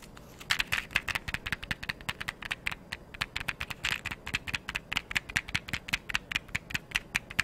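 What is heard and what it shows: A small, hollow, blue printed cardboard matchbox is held in one hand and tapped and scratched with long yellow nails. A rapid, uneven string of crisp, dry clicks and light scratches sounds out, each tap bright and papery with almost no ring or low end.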